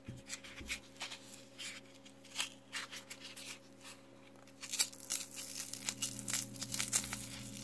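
Gloved fingertips squeeze, rub and press a hand-sized, solid, rectangular mint-scented soap bar sealed in a glossy green plastic film wrapper, on a table with untouched loose carved soap cubes around it. Bright, crisp crinkles and rustles of the plastic film come in short bursts over a faint steady low hum, growing denser and louder in the second half.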